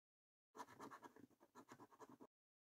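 A coin scratches the latex coating off a thin, flat paper £15 "3x £1 Million Snack Stack" National Lottery scratch card. About two seconds of quiet, rapid, dry scraping come in pulsing back-and-forth strokes centered in the midrange. The strokes become more clearly separated toward the end and then stop abruptly.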